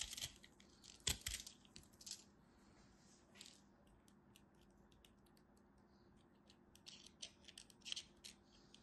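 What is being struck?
Chunk of pressed soap flakes.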